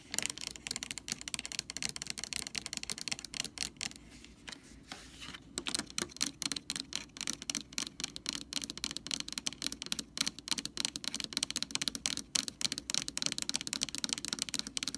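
Long orange nails tap and scratch the ridged side and top of a blue plastic screw cap on a white Lysol jug. The result is a rapid stream of sharp, bright clicks and scrapes with almost no low end. The sound briefly quiets to soft scratching around the four- to five-second mark before the quick tapping resumes.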